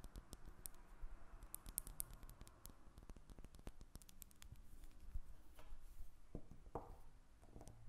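A square, embossed lavender bar of solid soap is held and then stood upright on a table while long red nails tap and scratch it. Quiet, rapid clicking taps come in quick bursts with very short, dry decay, mixed with soft scratching over a faint low rumble.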